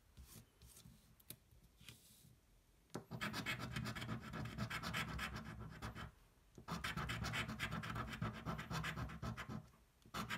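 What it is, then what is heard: Scratch-off lottery ticket being scratched. A thin, flat cardboard scratch-off lottery ticket, held flat on a table, is scratched with the edge of a coin. After a few faint, light scrapes, two long bursts of rapid, gritty back-and-forth scratching follow, about four strokes a second, with a bright rasp over a low rumble. A brief pause separates the bursts, and a final quick scrape closes the clip.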